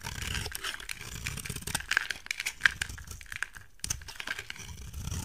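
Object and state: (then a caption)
Soap bar being shaved. A utility knife blade shaves flakes off a solid rectangular white soap bar with a gold-painted surface. The blade makes dry, crisp scraping and crinkling sounds with a dense run of quick, bright ticks and a few sharper snaps as the flakes come away.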